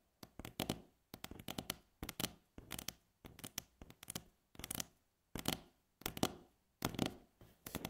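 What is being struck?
Wooden tabletop.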